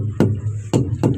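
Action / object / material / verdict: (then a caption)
knock / rubber truck tire / rubber / normal. A normally inflated rubber truck tire is knocked three times, each strike giving a dull, low thump with a short, solid decay. The tire sounds normal.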